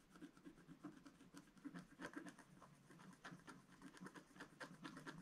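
A pointed wooden stylus scratches short strokes into a letter-size sheet of black wax-coated scratch art paper with a rainbow layer underneath, lying flat on a table. Quiet, dry, raspy scratches come in quick uneven bursts with a soft midrange grain and little ring.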